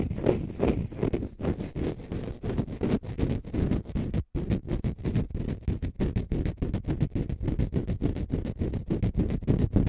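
A small, green, dry, porous konjac sponge puff is held in both hands while fingernails scratch its textured surface and squeeze it. Dense, rapid scratching bursts come through with a heavy low, rough character, broken by a brief silence about midway.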